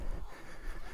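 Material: Nothing is struck.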